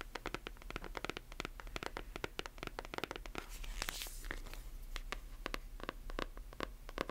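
Long nails tap and scratch a closed, solid hardcover book with a glossy paper dust jacket, working over the cover and spine. Around forty quick, dry, clicky taps with almost no ring are heard, broken around the middle by a brighter, hissing scratch across the glossy surface. A faint steady low hum runs underneath.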